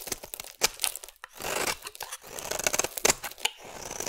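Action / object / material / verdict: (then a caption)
scrape / bar of soap shaved with a metal blade / soap / none. A metal blade shaves thin orange curls from the edge of a solid rectangular orange bar of soap. The cuts make crisp, dry scraping and crackling sounds that are bright and high-pitched with almost no low end. Short sharp snaps mix with longer rasping strokes.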